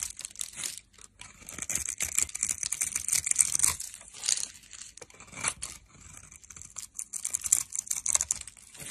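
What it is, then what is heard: Dry soap bar being cut. A metal blade scrapes and cuts a solid orange bar of dry soap, held in the hand, into small cubes and crumbs. The result is a dense run of bright, crisp scraping and crunching strokes with almost no low end, swelling and fading in quick bursts.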